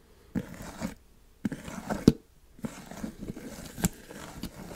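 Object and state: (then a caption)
Plastic tub lid scratched. Fingertips and nails scratch across the top of a black plastic screw lid on a large white plastic supplement tub. Three bursts of dry, scratchy rasping are separated by short silences, with a few sharper clicks within the bursts. The scratching sits mostly in the low-mid range and dies away almost instantly.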